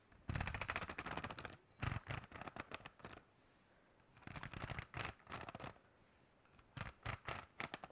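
Fingertips and nails rapidly tap and scratch the textured cover of a hand-sized black hardcover notebook with a metal spiral binding, held upright in one hand. The sound comes in quick bursts of dense clicking taps with brief pauses between them. Each burst has a low, dull thump under a bright, scratchy rasp.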